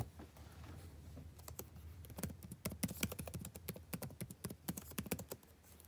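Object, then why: Plastic laptop keyboard. Fingertips tap on the plastic keys of a backlit laptop keyboard, producing a run of quick, sharp clicks over a low, steady hum. The taps start sparse and soft, then grow denser and louder before easing off near the end.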